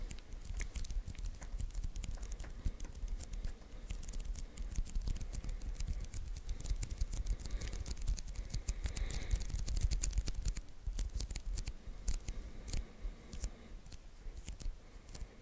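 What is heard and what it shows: Fingertips rapidly tap and peel on the white adhesive paper roll of a handheld sticky lint roller. A dense, steady stream of short, dry, crackly taps and sticky peeling snaps, with low thuds underneath and bright ticking on top, continues throughout.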